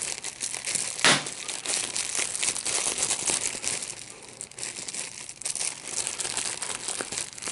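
Clear plastic bubble wrap with large, hollow, air-filled bubbles is held in both hands and squeezed with the fingertips to pop the bubbles, while a second, unused sheet lies at the side. A steady, bright crinkling and crackling runs throughout, with one sharp, loud pop near the start standing out above the rest.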